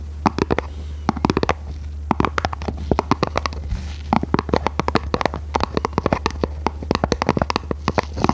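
Long red nails scratch and tap across the surface of a small red printed cardboard box. The result is a rapid, irregular series of short, dry, sharp clicks and taps over a steady low hum.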